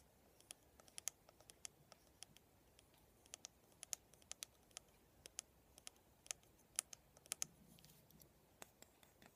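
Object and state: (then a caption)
Plastic vent hairbrush. Fingertips and nails tap and scratch along the handle and bristle rows of a handheld black plastic vent hairbrush with a hollow vented head, a silver band on the handle and plastic pin bristles. About 25 quiet, sharp, bright clicks come at an irregular pace over a soft hiss, each stopping almost instantly. A faint scratchy rustle follows near the end.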